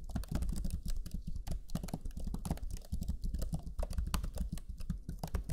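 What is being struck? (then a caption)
Plastic laptop chiclet keyboard. Fingertips of both hands type rapidly on the black chiclet keyboard of a Lenovo Legion 5 laptop, pressing its low-profile plastic keys. The result is a dense, steady stream of short, dull taps with a soft low thud under each press and crisp, bright clicks on top, each dying away almost at once.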